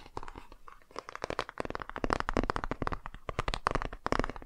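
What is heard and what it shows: Fingertips and nails tap and scratch the front cover of a hardcover children's touch-and-feel board book, with a solid, flat laminated cardboard cover, held upright in both hands. The result is a rapid, irregular run of short, dry taps and scratchy crackles with a mid-pitched papery tone, each hit stopping instantly without ringing.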